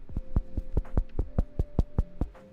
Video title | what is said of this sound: Onimart Overtime: Thor's Cheesy Bread and Potluck Foods for Friend Housewarming!- | The knock test seems good though, right? It sounds hollow. It doesn't sound like wet.